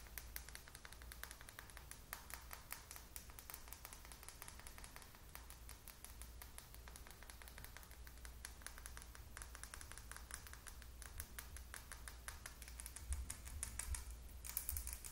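A small clear plastic lip gloss tube, partly full of purple gloss, is held upright and tapped quickly with long acrylic nails. The result is a fast, fairly uneven stream of dense, bright, sharp clicks over a steady low hum, growing slightly louder toward the end.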